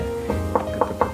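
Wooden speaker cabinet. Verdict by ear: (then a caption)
Solid. Knuckle... no striker given. Four knocks on top of a thick-walled wooden Platinum M25 speaker cabinet produce short, dense thuds with a low tonal center around 490 Hz and very little ring. The cabinet sounds solid rather than hollow, showing that its wood is rigid.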